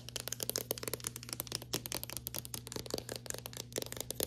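Long painted fingernails and fingertips tap fast on a flat, smooth, solid painted interior wall just above a white trim molding strip. About 28 quick, crisp clicks land in an uneven rapid patter, each dying away almost instantly, over a steady low hum.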